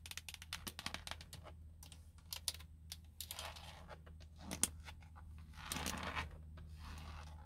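Long blue nails tap and scratch the hollow, hard plastic airbag cover on a Nissan steering wheel hub. Quick, sharp clicks come in bursts over a steady low hum, mixed with bright, dry scraping swells, and each tap dies away almost at once.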